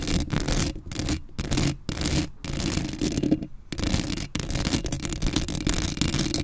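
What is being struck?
Metal mesh microphone grille.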